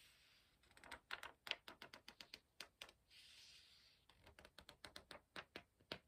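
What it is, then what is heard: Paper pages of a hardcover book. Fingertips rub the edge of a thick paper page in a large hardcover book lying open, then flick it while turning it. About 23 quick, crisp, bright flicks and taps snap out between two stretches of soft, airy rubbing hiss. The whole clip is quiet and dry, with no low end.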